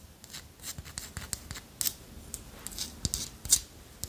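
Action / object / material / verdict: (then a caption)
scrape / small carved wooden figurine / wood / none. Long nails scratch and tap across the ridged surface of a small, solid, carved dark wooden segmented figurine. The result is a quiet run of short, crisp, bright clicks and scratchy rasps with very little low end, each dying away almost instantly.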